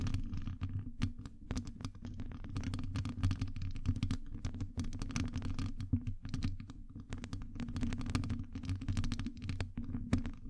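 Long acrylic nails scratch and tap the hollow round metal wire-mesh grille of a Blue Yeti-style microphone from both sides. A dense, boomy low rumble fills the clip, with quick, dry clicks and scratchy ticks flickering over it. Each tap is short and dies away almost at once.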